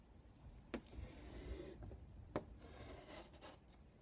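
A hand draws X marks with chalk on a flat black chalkboard with a wooden frame, making short scraping strokes across the board surface. Soft, dry rubbing and rasping fills the clip, broken by a couple of sharp, bright taps where the chalk strikes the board.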